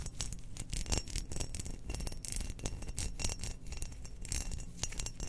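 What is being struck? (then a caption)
Glazed ceramic cookie jar. A spherical, hollow, glazed cream ceramic Death Star cookie jar with a black pattern, its lid on, is held in hands and scratched and tapped with long nails. A steady stream of bright, dry scratches and quick clicking taps sits over a low, rumbling handling sound, with no lingering ring.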